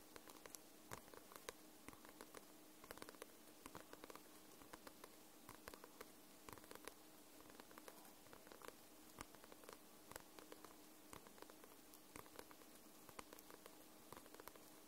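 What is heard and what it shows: Long nails tap and scratch the glossy paper cover of a paperback book, making dozens of quiet, sharp clicks spread irregularly over a faint steady hum. Each tap is short and bright with almost no ring, and a soft scratching texture fills the gaps between them.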